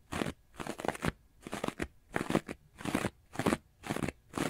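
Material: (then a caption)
Foam. A hand-sized, rectangular, porous and soft orange textured foam sponge is held upright in one hand and scratched quickly and aggressively with the fingernails of the other. The result is a series of dry, crunchy, crackling bursts that reach up into bright highs, separated by short quiet pauses.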